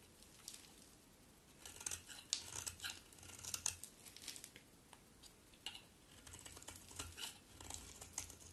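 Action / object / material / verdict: scrape / soap bar cut with a blade / soap / none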